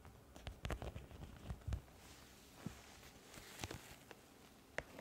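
An iridescent, studded holographic plastic pouch is held up and scratched with long nails across its textured surface. Quiet, uneven scratches and taps come in bursts, some with low thumps and others with bright, clicky edges, over a soft background hiss.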